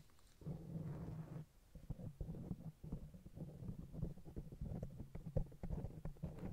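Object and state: Foam microphone windscreen.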